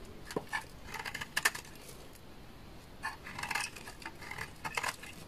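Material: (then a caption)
Soap. A utility knife blade repeatedly scrapes and shaves curls off the edge of a solid beige bar of dry laundry soap held in the hand. It makes crisp, bright, crackly scraping bursts with short dry clicks, in two busy clusters separated by a quieter pause.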